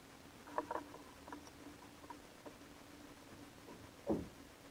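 A metal box-cutter blade carves thin slices from the surface of a palm-sized solid bar of soap coated in purple glitter, held in one hand. Soft, dry scraping and crackly cutting sounds are heard, with three louder cuts standing out over a faint steady hum.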